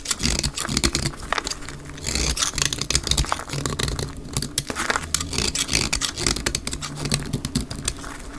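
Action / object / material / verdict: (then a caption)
scrape / bar soap shaved with a knife blade / soap / none. A utility knife blade held in the fingertips scrapes and shaves a solid, dry white rectangular bar of soap. Rapid, crisp, bright scratching strokes follow one another in dense bursts over a steady low hum, each stroke dry and short with no ring.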